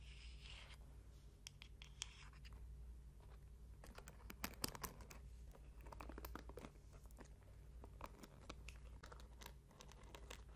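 A small hand-held bamboo paddle hairbrush with many wooden pins is held close and its pins are scratched and raked with long painted nails. The result is a quiet run of dry, bright clicks and crackly scratches over a steady low hum.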